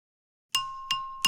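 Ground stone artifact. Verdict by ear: Ringing.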